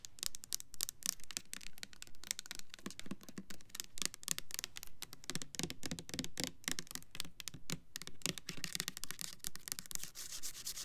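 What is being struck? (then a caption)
Plastic soap bottle with liquid. Long nails rub, tap and scratch the sides of a clear plastic Bath and Body Works Black Cherry Merlot foaming hand soap bottle with a black pump, filled with pink liquid. Quick, uneven clicks and taps blend with bright, hissy scratching over the whole clip, with the scratching growing louder toward the end.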